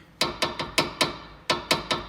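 Eight sharp taps on the loose steel front stabilizer (sway bar) link of a 2011 Honda Pilot with a front-end rattle complaint, each giving a short, bright, rattly knock that dies away quickly. The rattle matches the complaint noise, and the links were replaced on both sides.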